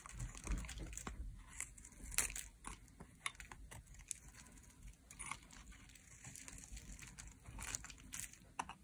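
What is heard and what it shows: A metal utility blade carves strips off the edge of a dry, solid, bright green soap bar held in the hand. Quiet, crisp scraping and crackling come with sharp, bright ticks and a soft low rumble underneath. The dry cuts stop short with almost no ring.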